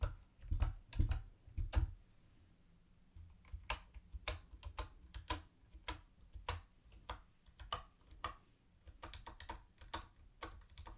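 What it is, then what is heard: Plastic typewriter-style keyboard being typed on. Fingertips type on a mint-green plastic typewriter-style keyboard with round white plastic keycaps and a hollow body. Sharp, bright clicks arrive in an uneven rhythm over a low hollow thump, each dying away almost instantly. There is a brief lull after the opening burst of keystrokes before the typing resumes.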